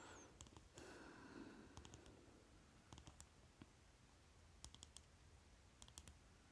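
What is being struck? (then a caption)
Plastic lipstick tube. Fingernails quickly tap the cap and body of a small rectangular lipstick tube with a shiny plastic case held between the fingers. Sharp, bright plastic clicks come in short clustered bursts over a steady low hum.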